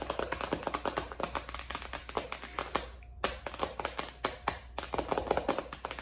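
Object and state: Plastic binder cover tapped with nails.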